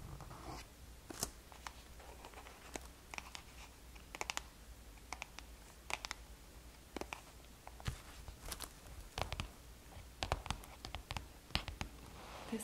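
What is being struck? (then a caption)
Small cardboard box. A small black NARS blush packaging box, a hollow cardboard box, is held and then set on a table while long painted fingernails tap and scratch it. The result is a quiet series of sharp, dry clicks and bright scratchy scrapes with very short ring, over a steady low hum.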